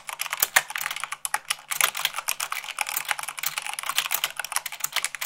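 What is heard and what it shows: Fast typing at about 98 words per minute with fingertips and long nails on a black plastic mechanical keyboard with white plastic keycaps. A rapid, uneven stream of sharp, bright plastic clicks and clacks with no low-end thump, each keystroke dying away almost instantly.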